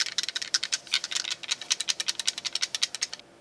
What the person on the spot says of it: can hear how that rattles inside of there